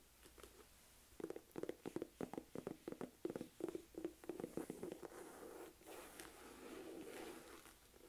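Long nails tap and scratch along the top edge and flap of a medium, hollow, beige smooth-leather MK envelope purse. A quick, uneven run of soft, hollow, low-mid taps gives way to a quieter, continuous scratching rasp in the last few seconds.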